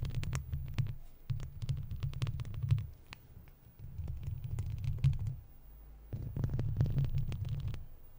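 Long red-tipped plastic fake claw nails worn on the fingers scratch a hollow wire-mesh metal microphone grille, with the mouth kept closed. The scratching comes through as a deep, muffled rumbling throb in four bursts separated by brief quieter gaps, with faint sharp clicks and scrapes on top.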